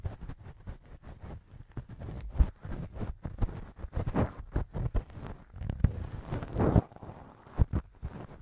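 A thin wooden earpick held in the fingers scrapes and scratches inside the soft, flexible, hollow ear canal of a left silicone ear model mounted on a binaural microphone stand. The result is a close, muffled stream of low, deep rustling and rubbing with short dull thumps and bumps scattered throughout, and almost no bright high end.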